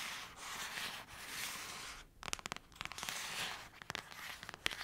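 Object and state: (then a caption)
Paperback book cover. Long acrylic nails rub and scratch the cover of a thick paperback novel, making a steady bright, hissy scraping sound. Around the middle the rubbing gives way to a series of sharp, quick clicking taps, then the scratchy rubbing returns with more scattered clicks.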